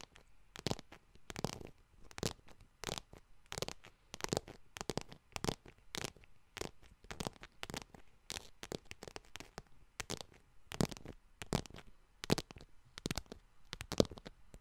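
Long nails tap and scratch the front surface of a small yellow faux leather wallet. Quiet, dry bursts of scratching and tapping repeat in a steady, uneven rhythm, each one brief with a soft low thud under a bright, rustling scrape that dies away almost at once.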